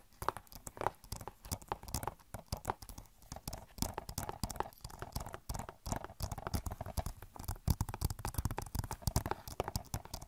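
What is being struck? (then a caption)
Plastic game case. Long nails tap and scratch the back of an Overwatch game case made of hollow plastic. Quick, dry clicks with a hollow low thump come in dense, uneven bursts over a soft scratching hiss. The sound stays quiet and close, and each tap dies away almost instantly.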